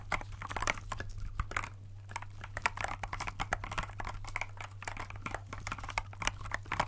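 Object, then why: Plastic mechanical keyboard keys. Gloved fingertips tap the clear keycaps of a compact, transparent plastic mechanical keyboard that is held and tilted. The result is a rapid, uneven stream of short, crisp plastic clicks and taps with bright edges, over a steady low hum.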